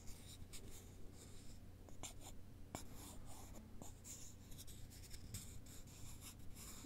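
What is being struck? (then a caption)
Thin wooden sticks. Two thin, long, solid wooden sticks are held in both hands and rubbed and scratched against each other in a cross shape with the fingertips. The result is a quiet, dry scratching with short, bright, crackly streaks that fade almost instantly, over a steady low hum.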